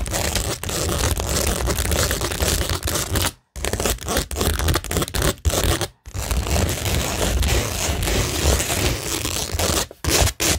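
Long nails scratch across a framed cork tingle board covered with a rhinestone mesh sheet and pearl stickers, a flat, solid surface. The result is a dense, continuous scratching and crackling texture with a strong low rumble and bright high hiss, broken by brief full silences near 3.4 and 6 seconds.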